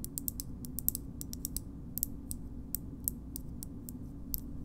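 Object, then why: Hard plastic shoehorn. Long nails tap and scratch a small, hard green plastic shoehorn, making a quick, uneven series of sharp, bright clicks. Each click is very short and dry, with a light scratchy texture. A steady low rumble stays underneath throughout.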